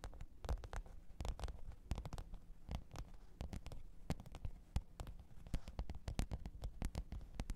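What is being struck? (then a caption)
Faux leather hard-shell zippered case. Long pointed nails tap and scratch the top of a black, textured faux-leather hard-shell zippered microphone case lying flat on fur. The result is a quiet, irregular patter of short, dull taps, heavy in low thumps, with brief bright clicks and soft scratching between them.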